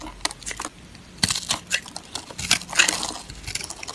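A small metal blade scrapes and cuts cubes from a solid, hand-held yellow bar of dry soap with a pre-scored grid surface. The result is a rapid series of bright, crisp crunches and crackles, with crumbly soap pieces falling away.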